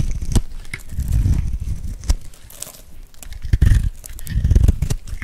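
A metal blade scrapes and carves curls off a hand-held, solid, dry, bright green soap bar with a gold glitter rim. The result is a steady run of dry, crunchy, crackling scrapes with a low, thumpy body and a few sharper snaps.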